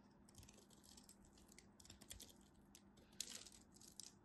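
A craft knife held in hand cuts through the remaining piece of a solid green striped bar soap, and chips crumble off. Quiet, bright, crisp crackling and scraping ticks run throughout, with short dry crunches and no ringing.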